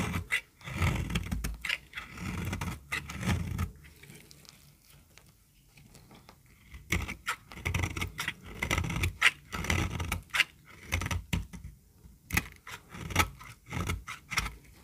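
A solid yellow bar of dry soap, held in the hand, is shaved and scraped with a utility knife blade, so flakes crumble off. Bursts of dry, gritty scraping come in uneven strokes with a low rumble and bright, crackly edges, separated by quiet pauses in the middle.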